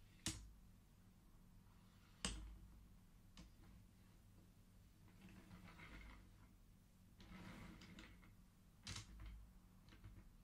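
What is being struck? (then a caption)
Wooden abacus with wooden beads on metal rods. Fingertips of both hands slide colored wooden beads along the thin metal rods of a large wooden-frame abacus so they click against each other. Sharp, bright wooden clicks ring out irregularly, separated by softer sliding rustles, over a steady low hum.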